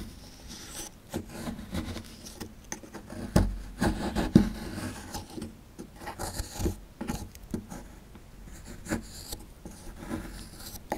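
A chisel scrapes and rasps at a small, solid plaster fossil dig block, working through the powdery plaster. Irregular, dull scraping and gritty rubbing strokes are heard, mostly low in tone, with a few louder sharp scrapes in the middle of the clip.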